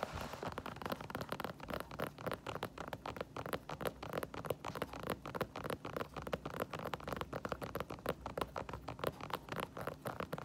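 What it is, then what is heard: Synthetic leather sneaker heel tapped with fingernails. Long painted nails tap and scratch the smooth white synthetic leather heel counter and foam sole of an empty white Adidas sneaker standing on a wooden floor. The result is a quiet, steady stream of quick, dry, clicky taps with a faint midrange tone around 500 Hz. Short scratchy rustles run between the taps throughout.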